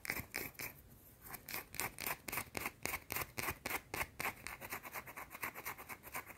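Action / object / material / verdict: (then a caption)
scrape / bar of soap / soap / none. A small round solid white soap bar held in fingers is scratched and tapped with long teal painted nails. About two dozen quick, bright scratchy clicks come in a fast, somewhat uneven rhythm, each dying away almost at once.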